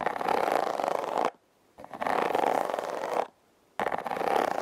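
Long red nails scratch and tap along the ridges of a hollow, red heart-shaped corrugated cardboard box. The sound comes in three dense, rasping bursts of rapid scratching with short silent gaps between them, centred in the midrange with a dry, papery texture.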